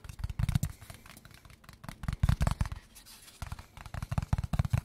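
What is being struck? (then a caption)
Small cardboard box. A small, hollow kraft cardboard product box is held in the hands and turned while fingertips and short nails tap its faces and edges. Three bursts of quick, dull, hollow taps come through, deep and thumping with almost no ring. Between them are quieter stretches of soft handling and scratching.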